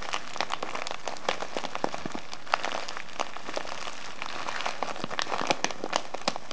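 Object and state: Kraft paper tea bag with plastic window, crinkled.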